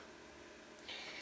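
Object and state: Nothing is struck.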